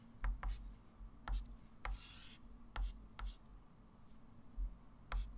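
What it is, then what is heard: Chalk writing on a chalkboard. A hand writes digits and draws circles and arcs with a white chalk stick on a small, flat, framed blackboard resting on a table. Short, sharp chalk taps and scratches come at irregular intervals, with one longer bright scratching stroke near the middle. A steady low hum sits underneath throughout.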